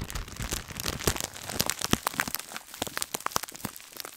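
A small gold glittery scouring sponge sealed in a clear plastic bag is held in one hand near the mic while long, dark-painted nails on the other hand scratch and crinkle the plastic. The result is a steady, dense crackle of crisp, bright crinkles and sharp little clicks with very short decay, over a soft scratchy hiss.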